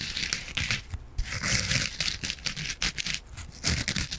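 Long nails scratch the green abrasive side of a palm-sized yellow foam kitchen sponge with a scouring pad. The result is bright, raspy scraping and crinkling in quick irregular bursts, with soft low thuds underneath and brief quiet gaps between strokes.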